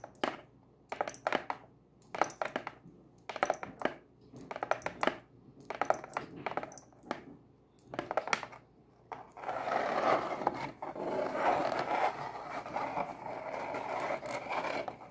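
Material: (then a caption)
Cardboard. Long acrylic nails scratch and scrape the lid of a closed, hollow brown cardboard Pizza Hut box. For the first nine seconds they make short, separate bursts of crisp, dry scratching, then switch to a continuous rough scrape that lasts to the end. The sound is papery and mid-pitched with bright edges, has almost no low end, and dies away instantly.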